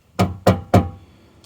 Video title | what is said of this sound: Corsa B Will it run? Part 2 | that just sounds empty to me